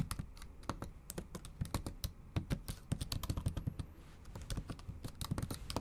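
Long acrylic nails type on a bare, backlit MacBook Pro laptop keyboard with plastic keys. Quick, dry clicks and taps with almost no ring come in an uneven typing rhythm, each with a sharp bright edge over a soft low thud, and a brief pause near the middle.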